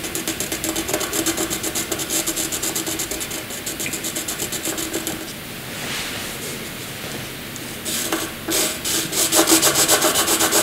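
A wooden graphite pencil shades a narrow rectangle on white paper with quick rubbing and scratching strokes, about four per second. The bright, papery scrape pulses evenly, eases into a softer, smoother stretch midway, then returns with louder, sharper strokes toward the end.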